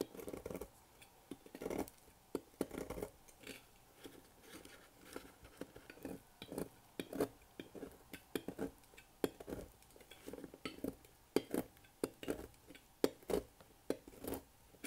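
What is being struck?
Bar of soap cut with a thin metal blade.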